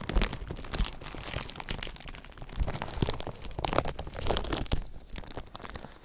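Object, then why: Thin clear plastic film. A thin sheet of clear plastic film covering a binaural ear microphone is crinkled and scratched with fingers. Dense, continuous crackling and crunching rustle with sharp snaps, heavy low rumble from contact with the mic, and bright crinkle on top, swelling and fading in waves.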